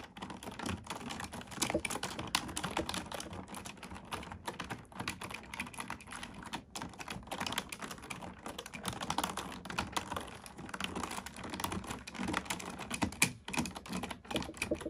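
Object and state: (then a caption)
Plastic computer keyboard being typed on. Both hands type with fingertips and long painted nails on a full-size black plastic keyboard with hollow key switches resting on a wooden desk. The result is a steady, rapid stream of short, hollow plastic clicks and taps with bright nail ticks, each dying away almost instantly, with occasional louder keystrokes.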